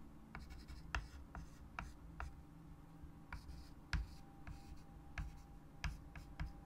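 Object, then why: Chalk on a wood-framed chalkboard. A hand writes with white chalk on a freshly erased, large wood-framed chalkboard, making about eleven short, bright scratching taps and strokes. A steady low hum runs underneath throughout.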